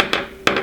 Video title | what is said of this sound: February 2017 Maker Box Unboxing and Review | that is a metal chest piece right there